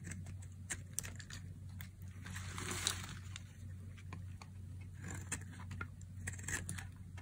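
A metal blade shaves and carves curls off the end of a palm-sized, solid cream-white bar of dry soap held in a hand with long nails. Soft, dry scraping runs throughout, broken by crisp, bright crackling ticks as the curls peel away. A steady low hum sits underneath.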